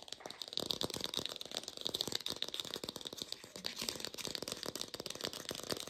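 An artificial plastic pear is tapped rapidly with a lo-fi quality, making a dense stream of dry, rattly clicks. The sound is bright and thin with almost no low end, and each tap dies away instantly.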